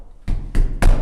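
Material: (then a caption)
Plasterboard. Three knocks on a tiled plasterboard wall in a bathroom under renovation give dull, hollow, low thuds that die away quickly. The hollow sound shows the wall is plasterboard rather than concrete, and these plasterboard sheets are to be cut out and replaced.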